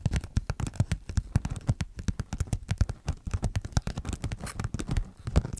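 Long nails scratch and tap quickly across a thin, glossy paper sheet of cartoon stickers held flat in both hands. The result is a dense run of short, dull taps with soft scratchy bursts, mostly low-pitched with brief bright clicks.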